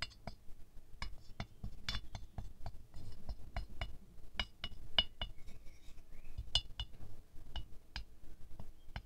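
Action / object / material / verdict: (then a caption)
tap / glazed ceramic rose figurine tapped with a thin wooden stick / ceramic / none. A thin wooden stick taps the petals of a small, solid ceramic rose ornament with a shiny silver glaze, which rests on a white fur rug. The taps come at an uneven pace, each a short, bright clink ringing near 2.9 kHz that dies away almost at once over a soft, low rumble.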